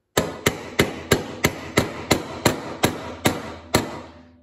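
A small ball-peen hammer with a copper-colored handle taps 11 times on a pin or part on the side of a black anodized aluminum CZ Bren 2 rifle upper receiver, long and hollow, resting in a white plastic cradle on a wooden table while a gloved hand steadies it. Each light tap is a sharp, bright metallic click with a short ring around 390 Hz, coming at a fairly steady pace with slightly longer gaps toward the end before the sound fades out.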